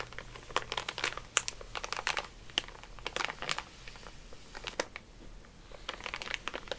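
A soft makeup brush is rubbed and brushed over a full, flat, sealed plastic film bag of Mini Eggs candy lying on a placemat while the other hand holds it. The result is a steady run of quiet, bright plastic crinkles and crackles with sharp, quickly fading snaps, over a faint low hum.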